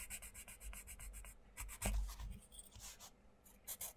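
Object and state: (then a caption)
Pencil colouring on a paper book page. A wooden coloured pencil tip is rubbed back and forth on the paper page of a flat, open paperback colouring book lying on a wooden table, with fingers holding the page down. Quick, bright, scratchy strokes come in a steady rhythm, broken midway by a duller, louder low-pitched thump and softer rubbing before the rapid strokes resume.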